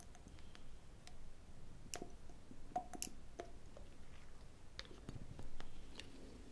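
A gold metal and glass dropper is pulled out of a black glass cosmetic oil bottle by hand and pushed back in, its lid clicking against the glass neck. The result is a quiet series of short, bright clicks and ticks with brief faint ringing, heard over a low, soft rumble.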